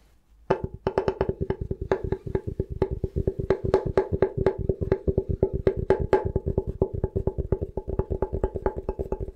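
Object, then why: Bamboo cutting board. A thin, solid bamboo cutting board is held upright by its edge while fingertips tap quickly across its flat surface. After a brief quiet moment, a fast, uneven stream of dry, woody knocks begins, each with a hollow tone around 390 Hz that dies away almost instantly. The tapping continues steadily to the end.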